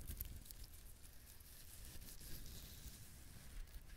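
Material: Coconut husk.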